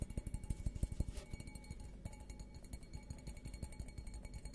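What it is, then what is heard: Glass goblet. An empty stemmed glass beer goblet, held upside down, is tapped repeatedly on its bowl with fingertips and nails. The taps come fast and unevenly as short, dull, low thuds with very little ring, over a faint steady hum.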